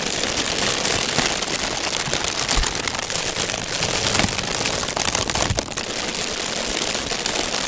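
A large pink folded-paper honeycomb fan is held against the microphone while its pleated paper is rubbed, squeezed and scratched with the fingertips. The result is a dense, steady, bright crinkling and crackling that sounds like rain on a surface, with occasional sharper crackles.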